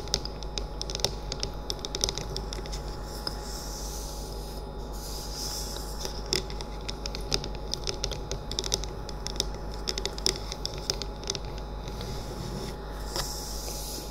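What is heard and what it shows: A hand-sized, hollow, cylindrical essential oil diffuser with a bamboo-look body, running and lit on a wooden table, is tapped rapidly on its sides with the painted fingernails and fingertips of both hands. Quick, dry clicks and taps patter steadily throughout, over a low, constant machine hum.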